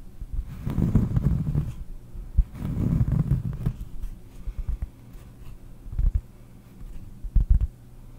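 Long painted nails scratch, then tap, the surface of a large, round, solid cork trivet held in both hands close to the mic. Two dull, low rasping scratch passes give way to scattered soft, thumpy taps with almost no brightness and no ring.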